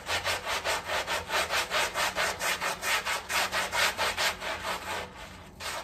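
A long-handled round brush scrubs across a small, flat woven area rug that is heavily dirty and muddy and covered in soapy foam. Rapid, steady back-and-forth strokes make a bright, wet swishing rasp that pulses about twice a second, then slows and softens near the end.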